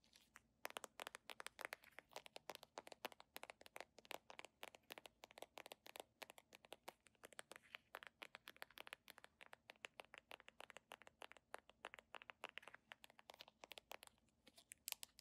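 Long painted nails rapidly scratch and tap along the ridged red section of a small, hollow red-and-white Webber-brand plastic squeeze tube held in both hands. The result is a fast, steady stream of sharp, dry clicks and crinkly scratches with a bright, crisp edge and almost no ring or low end.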